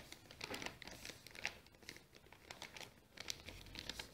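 Fingers fold and crinkle a small brown kraft paper bag with a round sticker, apparently empty, while nails scratch across it. The result is a quiet, continuous run of bright, dry crinkles and scratchy crackles with very little low end.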